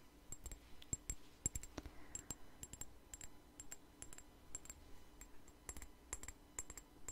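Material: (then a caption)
Glass. Fingernails tap and scratch a small glass perfume bottle with a plastic daisy-flower cap, held in the hand. Quick, dry taps arrive in a steady run, each with a bright, high clink that dies away almost instantly. Soft scratching sits between the taps over a quiet, low background.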